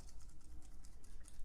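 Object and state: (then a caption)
Real dried gourd with loose seeds, not clay. A carved, dried gourd art piece that looks like clay is shaken, and the dry seeds inside rattle with quick, soft, clicking ticks over a low background hum. The rattling seeds show it is a real gourd, not clay.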